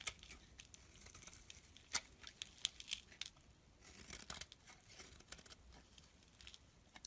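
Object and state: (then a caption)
Bar soap being scraped. A metal blade repeatedly scrapes thin shavings off the face of a solid mauve bar of soap held in the hand. The sound is quiet, bright, and crisp, a steady dry scratching with many sharp, high clicks and crackles. There is almost no low end or ring.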